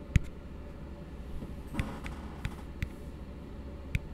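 Fingertips and nails tap a small, hollow, empty blue frosted plastic tumbler held upside down close to the mic. A few sparse, dull, low knocks, each with a brief bright click, die away almost instantly over a steady low rumble.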